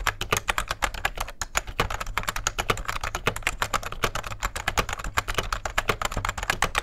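Fingertips of both hands type steadily on a beige, full-size vintage plastic rubber dome keyboard with a hollow case. They produce a continuous run of quick, dull key taps with bright clicky edges that die away almost instantly, over a low, steady hum.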